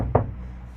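A single knock on a bare sheet-metal van body panel that has not yet been damped during soundproofing. It gives a low, resonant thud that rings briefly before fading into a dull hum. The panel still rings, unlike the panels already damped with pieces of material.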